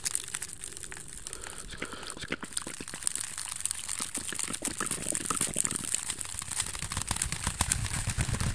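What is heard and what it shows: A small, hollow, empty woven basket of wicker or bamboo strips is held up close in both hands while fingertips and nails scratch and tap its woven sides fast. The result is a dense, crackly stream of rapid taps and crinkling scrapes with a bright, hissy top and some low thump underneath, steady for the whole clip. An echo effect has likely been applied.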